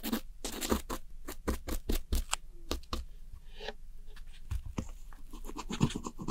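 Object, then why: Pressed eyeshadow palette in a plastic compact. A metal pick with a pink handle scratches and digs at the powder pans of a round plastic palette of blue and grey pressed eyeshadow, spreading crumbled powder around. A rapid series of short, dry scratching strokes is heard, each a brief broadband rasp with a dull low thump underneath and quick decay. Some softer scraping fills the gaps between them.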